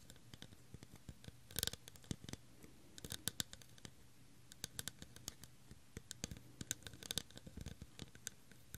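Fingernails scratch the textured surface of an empty, hollow, clear faceted plastic tumbler held close to the microphone. Dozens of short, dry, bright scratches and clicks sound over a faint low hum, with a few denser bursts in between.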